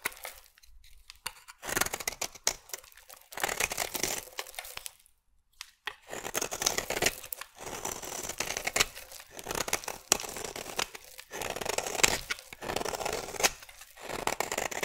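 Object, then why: Bar of soap cut with a metal blade. A metal blade carves into a solid pink marbled bar of soap, and the shrinking bar sheds crumbly shavings onto a table. Dry, bright scraping and crumbly tearing sounds come in repeated bursts separated by brief pauses, with little low end.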